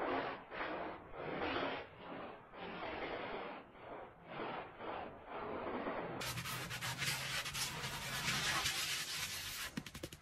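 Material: Fabric.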